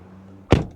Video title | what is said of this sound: Modern Speed + Analog Feel // E92 M3 Drive Review (POV) | le bruit sourd, un son d'une telle qualité